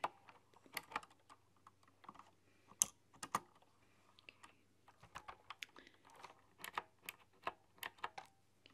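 Fingertips with long dark-polished nails tap and type on a full-size computer keyboard with round typewriter-style keycaps, chrome rims and hollow keys on a dark body. Quiet, bright, crisp clicks come in an irregular typing rhythm, each dying away instantly with no ring.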